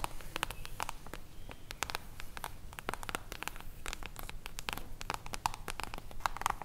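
Long acrylic nails tap and scratch the silver mirror-foil cover of a solid hardcover book held upright. A rapid, irregular stream of sharp, bright clicks and scratchy strokes stops almost instantly after each touch, over a faint low rumble.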